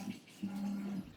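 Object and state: Nothing is struck.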